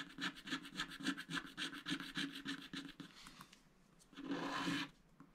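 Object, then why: Wax-coated scratch-art paper scraped with a wooden stylus. A wooden stylus scrapes the black coating off giraffe motifs on a scratch-art paper sticker sheet resting on a mat. About fifteen quick, dry, bright scratching strokes come in a fast, uneven rhythm. After a brief quieter pause, one longer continuous scrape follows.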